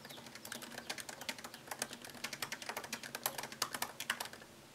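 Fingertips type on a MacBook Pro laptop keyboard with plastic keycaps set in an aluminium body. The result is a quick, steady run of light, crisp clicks, each one short and bright with little low end.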